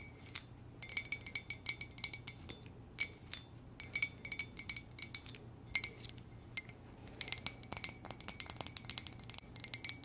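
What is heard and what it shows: A standard-size white ceramic coffee mug with a black lips print and script lettering, hollow and empty, is held in both hands and tapped and scratched with long manicured nails, with rings on the fingers possibly adding small clinks. Many quick, bright taps come in irregular bursts, each carrying a faint glassy ring near 2.1 kHz that dies away almost at once, over soft scratching and a low steady hum.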